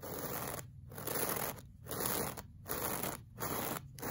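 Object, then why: Woven looped-pile fabric rug. The bristles of a pink plastic brush scrape back and forth across a solid, flat beige looped-pile woven fabric rug. Each stroke makes a dense, bright, scratchy swish, with short quieter pauses between strokes as the brush changes direction in a steady rhythm.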